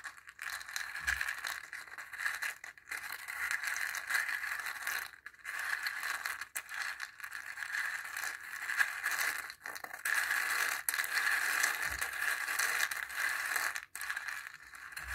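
A wooden stick stirs and pokes dry chickpeas against the wall of a small, hollow dried-gourd bowl with a zigzag rim, partly filled with the peas. It makes a steady, dense rattle of many small, dry, crinkly clicks centered in the upper-mid range with a bright edge. Brief quiet gaps break the stirring around 5, 9.5 and 14 seconds.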